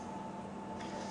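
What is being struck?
Nothing is struck.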